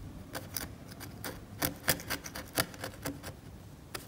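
A steel scalpel blade scrapes the cracked varnish of an oil painting on canvas in a series of short, dry, irregular strokes, each a brief bright rasp with almost no ring. The scraping leaves varnish debris on the painting's surface.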